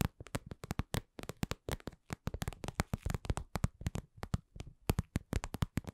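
Long nails tap and scratch a soft, hollow, glossy red patent vinyl cosmetic pouch, producing a dense run of short, dry, low-pitched taps with clicky high edges and almost no ring. The taps come in quick irregular bursts at a slow-to-medium pace, with no talking.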